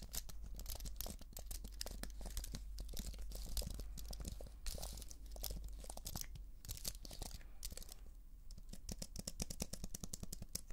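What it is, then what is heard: Plastic and aluminium computer keyboard. Long nails rapidly scratch and tap across the plastic keys of a slim white keyboard with an aluminium frame, held vertically. A dense stream of quick, bright clicks and scratchy rasps runs throughout at a fairly even level, over a steady low hum.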